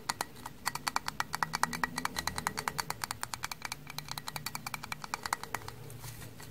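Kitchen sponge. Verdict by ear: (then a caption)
Frozen. Frozen kitchen sponges, stiff from the cold, are tapped in a quick irregular series of about 49 hard, crisp clicks. Each click is sharp and bright with almost no ring, rather than a soft sponge sound, over a faint low background.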